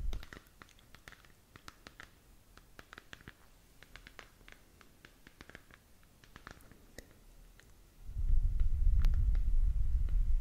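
A glowing hollow plastic galaxy moon lamp, about 15 cm across, is held in one hand while long nails of the other hand scratch and tap its textured surface. Quiet, sharp clicks and scratches repeat at an uneven pace. About two seconds before the end, a loud low rumble rises and holds under the tapping.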